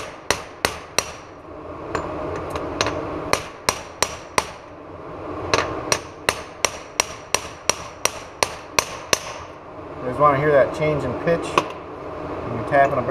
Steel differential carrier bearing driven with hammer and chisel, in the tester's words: that change in pitch when you're tapping a bearing on